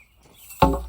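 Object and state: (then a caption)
Concrete post footing present. A 2x4 is pounded down onto the bottom of another post hole, landing on a concrete footing. After a quiet lead-in, a sharp, dull, low-heavy thud rings briefly and fades, confirming the concrete footing is there.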